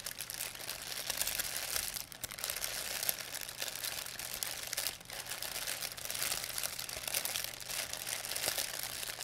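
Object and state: Plastic bag.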